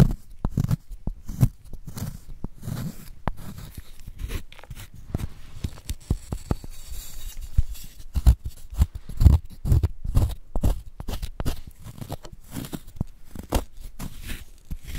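A wooden spoon scrapes into a solid white gym chalk block held in a gloved hand, crumbling the chalk into powder. Dozens of short, dry crunching scrapes follow one another at an uneven pace, each heavy and dull in the low end and dying away almost at once.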